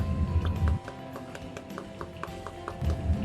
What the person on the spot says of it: bahannya polikarbonat kalau diketuk Suaranya kayak gini